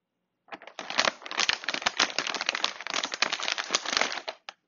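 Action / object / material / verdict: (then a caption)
scrape / plastic foil snack bag / plastic foil / none. A large, crinkly plastic-foil Cuttlefish Snack chip bag full of chips lies flat on a marble table while fingertips and a palm tap, press and crinkle its surface. The result is a dense run of bright, dry crackling crinkles with almost no low end, lasting about four seconds, then a last short crinkle.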